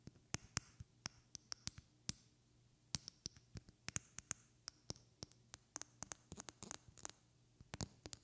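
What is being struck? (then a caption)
Small glass bottle with liquid. Long red-painted fingernails tap a small glass perfume bottle with a white cap and liquid inside, held in one hand. About thirty quick, bright clicks come in an irregular rhythm, some harder and some softer, each dying away almost instantly. A faint low hum sits steadily underneath.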